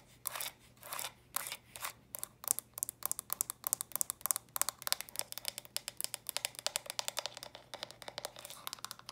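Small hollow pink, lilac and purple plastic Lego-style stacking storage bricks, held in hand, are tapped and scratched quickly with long dark-painted nails. Early on come slower scratchy bursts, then a rapid run of dozens of sharp, bright plastic clicks with almost no ring. The overall sound stays quiet and crisp.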